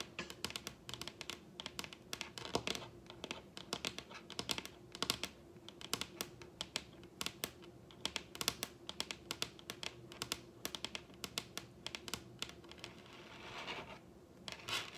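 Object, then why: Wooden table top. Long red nails tap and scratch along the grain of a large, solid wooden table top, producing rapid, sharp, bright clicks with almost no ring, spread through the clip over a faint steady hum. A soft scratching swell rises briefly near the end before the tapping resumes.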